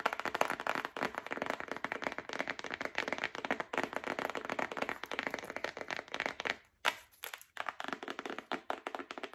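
Long nails tap and scratch rapidly across a flat printed cardboard box containing paper letters. The result is a dense stream of short, dry, papery clicks and scrapes, broken by brief pauses and a near-silent gap just before one sharper tap around the seven-second mark.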